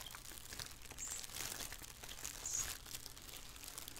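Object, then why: Thin plastic shower cap. A thin black plastic shower cap, flipped over and held in both hands above a wooden table, is scrunched and crinkled with fingers and long nails. A continuous bright, rustling crinkle swells and fades in waves over a faint low hum.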